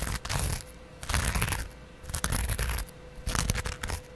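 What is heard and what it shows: A small double-edge metal razor blade, held in the fingers, scratches across the green abrasive scrub side of a hand-held kitchen sponge. Four bursts of tearing, scraping friction with bright, high-pitched grit are heard, separated by quieter pauses over a faint steady hum.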